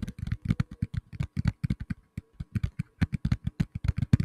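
A black tablet in a plastic case is tapped rapidly with the fingertips, producing a quick run of about 27 short, dull, low thuds. Each tap dies away almost instantly, with a brief pause near the middle.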